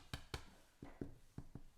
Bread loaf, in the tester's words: that sounds really good we're looking for a nice hollow sound